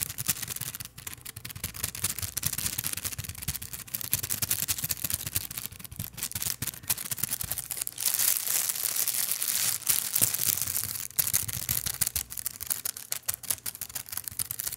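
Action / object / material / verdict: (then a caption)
scrape / thin plastic bag / plastic / none. A large, thin, empty, translucent clear plastic bag is crumpled and rubbed with fingers close to the microphone. Dense, bright crinkling and crackling continue throughout, with a steady hiss and little low end. The sound swells to a louder, fuller rustle in the middle before settling back to quieter crinkles.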